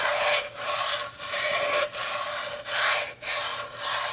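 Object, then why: Bamboo cutting board. Long nails scratch and rub along a solid, rectangular striped bamboo cutting board held tilted in the hands. The result is a steady, raspy, bright scraping made of back-and-forth strokes, separated by brief dips in loudness, with almost no low end.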